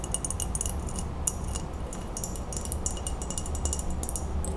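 An empty, clear, embossed glass Ball mason jar is held tilted and tapped quickly with long acrylic nails on its sides and base. The result is a rapid, uneven run of bright, short clinking taps with almost no ring, over a steady low rumble.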